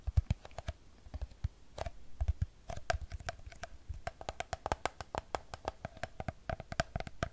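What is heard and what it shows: Long nails tap quickly on the side of a hollow Fiji plastic water bottle filled with water. A rapid, uneven stream of sharp, dry clicks, each with a soft low thump and a faint hollow tone in the mids. Every tap dies away almost instantly.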